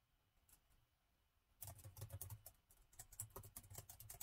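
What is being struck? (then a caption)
Plastic laptop keyboard. Fingertips of both hands type on the black plastic keys of a gold laptop keyboard. After about a second and a half of near silence with a few faint ticks, a fast run of soft clicky keystrokes begins, each with a short bright tap over a low thud, with a brief lull before the typing picks up again.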